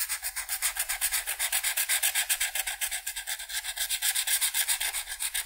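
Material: Paper.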